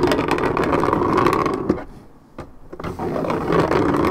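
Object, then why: Coated paperboard juice carton. Long red nails scratch the coated surface of a hand-held 1.75 L Minute Maid paperboard orange juice carton, making a dense, rapid, raspy scratching centered in the midrange. The scratching fades into a brief near-quiet gap broken by a couple of isolated scrapes, then resumes at full strength.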